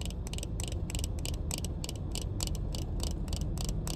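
Long painted nails rapidly tap the black plastic frame and tinted lenses of a pair of sunglasses, making quick, bright, dry clicks that stop almost instantly. The clicks ride over a steady, loud low hum that fills the background throughout.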